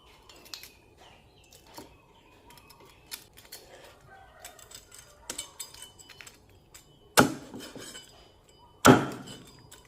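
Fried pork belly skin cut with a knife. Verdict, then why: Crispy. A knife cuts through fish-sauce fried pork belly, its crispy skin giving a series of light, bright crackles and clicks. Two much louder, sharp crunches near the end stand out. The crackling skin shows it is very crispy, with juicy meat inside.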